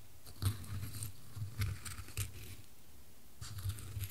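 Small dry wood chips in a wooden bowl are stirred and scooped with a wooden spoon while a gloved hand holds the bowl. Soft, low, dry knocks and rustles come in bursts, with brief bright clicks on the stronger strokes and a quiet pause before the stirring resumes near the end.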